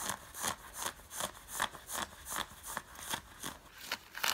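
Long fingernails scratch worn grey cotton fleece sweatpants with a green side stripe in a steady series of short, raspy strokes. Each stroke is a bright, dry scratch with very little low end, separated by quiet gaps.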